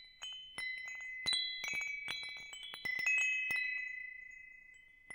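A hanging metal tube wind chime with hollow metal tubes is held up and swayed so the tubes strike each other. About seven bright, overlapping metallic rings are heard, each ringing on with a long, slowly fading sustain of high tones.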